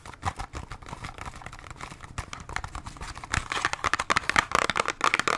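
A small cardboard Band-Aid box is scratched and tapped with long nails. Quick, dry clicks and raspy scratches overlap in a dense, bright pattern with almost no ring. The tapping grows louder and sharper in the second half.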